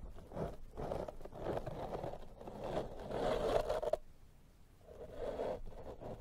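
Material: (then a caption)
Foam. A pink silicone pastry brush brushes and scratches across the soft, porous black foam windscreen covering a microphone. Close, scratchy rustling strokes with a mid-range focus run steadily for about four seconds, then cut off abruptly. After a brief quiet gap, another burst of brushing follows.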